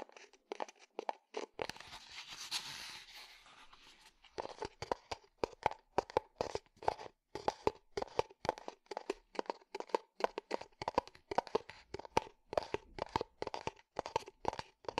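Fingertips tap rapidly on the side of a small, hollow, empty unglazed terracotta clay pot, making dry, short knocks with a hollow mid-toned ring and almost no decay. Early on, a brief stretch of breathy, bright scratching replaces the taps before the quick tapping resumes and continues steadily to the end.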